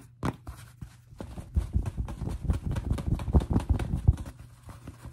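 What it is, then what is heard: Fabric fitted cap tapped. A cream and brown fitted fabric baseball cap with a stiff brim is held in the hands while its brim and crown are tapped with fingertips and short nails. The result is a quick run of soft, dull, low-pitched taps that die away almost at once, with little brightness, growing busier and denser after the first second and a half.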